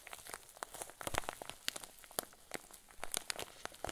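A rectangular clear zip-lock plastic bag full of white fluffy filling is held up and squeezed with the fingertips and thumbs. It gives off a dense run of quiet, bright plastic crinkles and crackles, each snapping off quickly. These come in uneven clusters over a soft, steady rustle.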